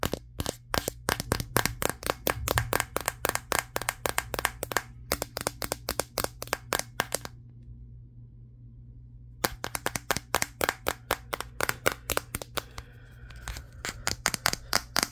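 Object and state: Glass-backed smartphone tapped.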